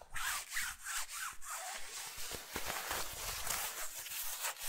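Fingertips and nails scratch and rub the front and patterned-lined collar of a blue synthetic nylon/polyester rain jacket while it is being worn. Rapid, uneven strokes make bright, raspy swishes with a hissy high end and soft low thumps. The scratching continues steadily at a fairly loose rhythm throughout.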